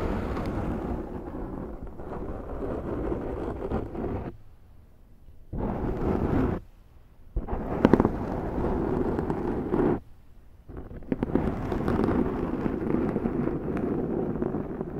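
Long manicured nails of both hands slowly scratch a large, soft, porous black foam windscreen on a Zoom microphone. The result is a dense, rough, low-to-mid rumbling rustle with a few sharper crackles. It stops briefly twice, around 4 to 5.5 seconds and 10 to 11 seconds, before resuming.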